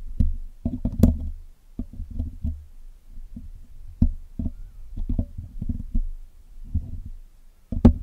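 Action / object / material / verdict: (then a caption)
scrape / metal wire mesh microphone grille picked with steel tools / steel mesh / none. A steel hook pick and steel tweezers pick and tap at the wire mesh of a black hollow metal mesh grille on a Blue Yeti microphone while it is being cleaned. The result is an irregular series of short, dull, knock-like taps, heavy in low thumping tones with a faint metallic scrape. A few sharper picks add brief bright clicks.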